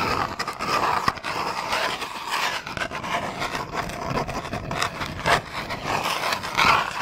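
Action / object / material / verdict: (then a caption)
scrape / small cardboard box / cardboard / none. A small, long, hollow cardboard box labelled "Bamboo toothbrush" is scratched and rubbed along its length with fingernails. The result is a dry, continuous scratching rustle centred around 1 kHz, with bright hiss and almost no low end. Brief louder scrapes rise out of the texture throughout.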